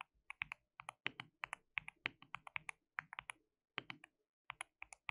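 Fingertips of both hands type on a white plastic mechanical keyboard with translucent keycaps. The result is a quiet run of short, bright, clicky keystrokes in quick bursts with brief pauses between, each dry and dying away almost at once with little low end.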